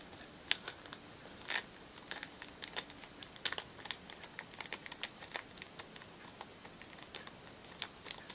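Long fingernails tap and scratch the top of a small, flat, pale blue cardboard product box sealed in cellophane and lying on a cushion, while the other hand holds it steady. The result is a quiet, dense, irregular run of crisp crinkly clicks and scratches. The sound is almost entirely bright and high, with no low end and no ring after each tap.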